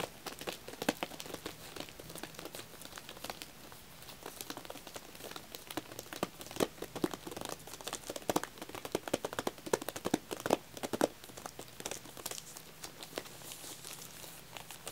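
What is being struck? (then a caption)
Plastic-wrapped wax tealights. Fingertips tap and scratch the tops of a shrink-wrapped pack of cream vanilla wax tealights and its paper label. The result is a steady stream of quick, crinkly plastic taps and rustles, with a busier, louder stretch in the middle before it settles back to soft scratching.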